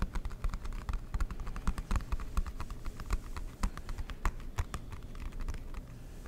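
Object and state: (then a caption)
Cardboard board game box. Fingertips and nails tap rapidly on the lid and sides of a large, flat, dark blue cardboard Monopoly board game box with an embossed logo. The hollow box gives a dense run of soft, dull, low thuds, each with a faint sharp click on top. The taps die out almost instantly, at a steady, quiet level for about six seconds.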